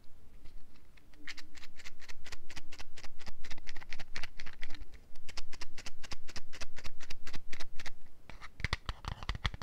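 A small printed yellow and white cardboard box is held close to the microphone and tapped and scratched with long nails. The result is a rapid, fairly steady run of short, dry taps with bright scratchy edges, and a rougher burst of scratching near the end.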